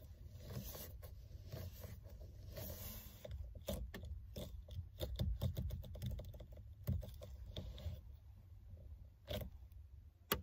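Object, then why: Synthetic leather steering wheel cover. Long red nails and fingertips grip and scratch a black, textured faux-leather steering wheel cover with a solid rim, both hands working the rim. Soft scraping and patter sit over a steady low rumble, broken by a run of short, sharp, bright ticks that cluster most densely in the middle of the clip.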